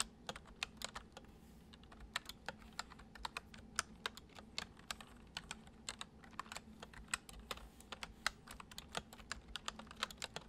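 Fingertips type across the letter keys and arrow keys of a white plastic computer keyboard. The result is a quiet, irregular stream of short, bright, crisp key clicks that stop sharply, over a faint steady low hum.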